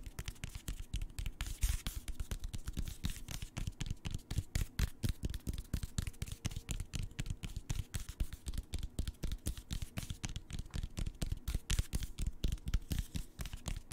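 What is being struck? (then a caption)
Hardcover paper book spine. Fingertips tap and scratch along the spine of a closed, solid hardcover paper book, "The Rising Storm," lying spine up. Quick, dull, low-heavy taps come about twice a second at an uneven pace, mixed with a soft dry scratching. Each tap dies away almost instantly.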